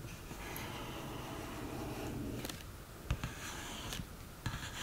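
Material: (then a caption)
Cardboard. Long green nails tap an open cardboard eyeshadow palette on its case sides, pans and lid. A soft, steady scratchy rubbing fills the first half, then five sharp, dry taps with bright clicks ring out, each dying almost instantly.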